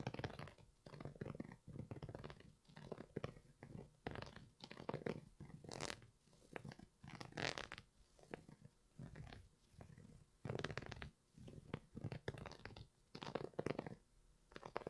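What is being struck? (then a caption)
Knit textile sneaker. Fingertips and nails scratch and rub the knit side of the upper of an empty grey Primeknit textile Yeezy 350 V2 sneaker held in one hand. The result is a quiet, dry string of rustling, scratchy bursts, mostly low and mid in tone, with occasional brighter scrapes that stop with no ring.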